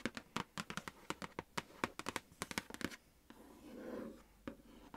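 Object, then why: Flat printed cardboard box. Long nails tap and scratch across the surface of a large, flat, pink printed cardboard makeup palette box held in a lap. About twenty short, dry, crisp taps come in quick succession. They give way to a softer, continuous scratching rustle and a final isolated tap.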